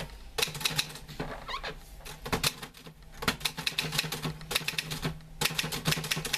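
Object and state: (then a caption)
Metal manual typewriter. Fingertips type on the keys of a green-grey metal portable manual typewriter with a sheet of paper loaded, producing bursts of sharp, bright, clacking keystrikes that die away quickly. Between bursts, a hand throws the carriage return lever with a brief rising, ratcheting whir, over a faint steady low hum.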